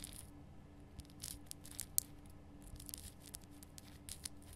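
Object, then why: Rock-salt lamp. Long painted nails scratch the rough surface of a large, solid, lit pink rock-salt Himalayan salt lamp. Quiet, scattered bright scratches and crisp ticks come in short bursts over a faint, steady low hum.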